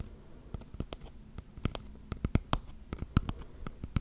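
A small wooden box held upright close to the mic, its wooden sides tapped and scratched with fingernails. Thirteen short, dry taps ring out over a soft, continuous scratching, each click sharp with a bright top and a low thud.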